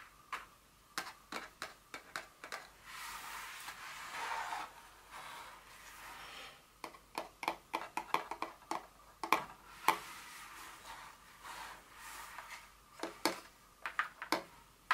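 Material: Cardboard.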